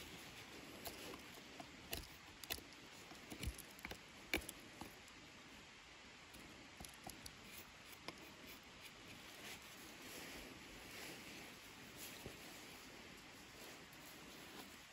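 A small metal pocket knife blade scrapes and whittles the knots and surface of a long, solid, bare wooden walking stick held in the hands. Irregular, crisp scraping cuts and sharp clicks stand out over a quiet, steady bright hiss, strongest in the first half.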